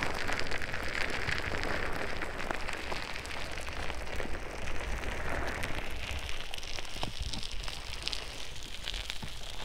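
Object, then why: Soft silicone ear-shaped microphone covers scratched with long nails. Long acrylic nails scratch two hollow, soft white silicone ear-shaped pieces on the sides of a binaural microphone. The result is a steady, dense crackling rustle, like rain on a surface, with a heavy low rumble underneath and faint bright scratchy flecks on top.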